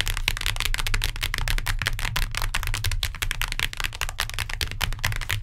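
Long nails tap rapidly on the cardboard cover of a hardcover book, giving a dense stream of short, crisp clicks over a low, steady hum.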